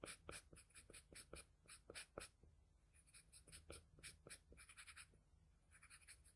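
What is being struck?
Drawing paper and graphite pencil.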